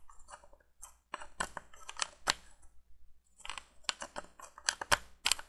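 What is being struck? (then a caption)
Small glass light bulb in a plastic candle holder. A small hollow orange glass C7 bulb, screwed into a plastic candle and held in the fingers, is tapped and scratched with long painted nails. Crisp, bright clicks and scratchy rustles come in two busy bursts separated by a brief pause near the middle. Each tap stops almost instantly with no ring.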